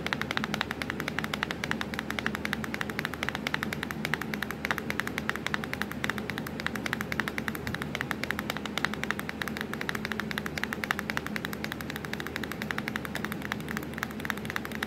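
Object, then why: Plastic laptop keyboard keys. Long pointed acrylic nails tap rapidly on the black plastic keys of a hollow laptop keyboard. The result is a dense, steady stream of sharp, dry clicks with almost no ring, centered on a bright clack near 1.9 kHz over a faint low hum.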